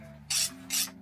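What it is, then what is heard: Hardened steel knife blade (file skates). A file is run across a cooled, quenched steel knife blade as a hardness test, making three bright, hissing scrapes, the last one cut short, over a faint steady low hum. The file skates across the surface with a high, glassy rasp instead of biting in, showing the blade has hardened properly.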